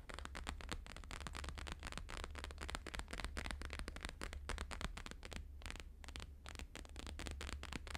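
Fingertips and nails tap fast on a thin, flexible, flat square sheet of plastic-laminated holographic paper lying on a fur rug, mostly near its bottom edge. The taps form a dense, crackly patter of short, bright clicks over a steady low hum.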